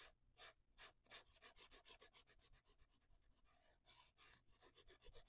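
A felt-tip marker scratches and rubs across a paper coloring book page in quick back-and-forth coloring strokes. About twenty quiet, bright, hissy scratches come in an uneven rhythm, with a longer continuous rub in the middle.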